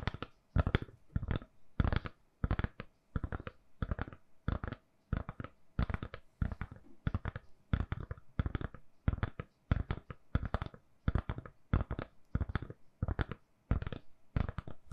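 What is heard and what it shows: Long nails tap and scratch a hand-sized, solid lilac silicone-covered phone case on a phone. The result is a steady series of quick, dry, muffled taps and scratchy clicks in short bursts, heavy in low thud with almost no ring.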